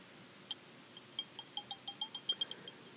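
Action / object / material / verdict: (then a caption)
tap / glass tumbler and glass stirring rod / glass / none. A long twisted green glass stirring rod taps and clinks against the rim and inner wall of a hollow, empty green glass tumbler or candle holder held in hand. About twelve quick, light glass ticks sound over a quiet background, each a bright, high ping that dies away almost at once.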